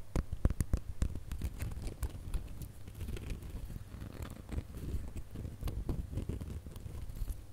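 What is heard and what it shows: A gold glitter plastic star ornament is held in both hands while fingernails scratch across its glitter ridges. Quick, irregular scratchy ticks and soft crackles come in short bursts, over a heavy low, muffled rumble of handling. Each scrape stops almost at once, with no ring.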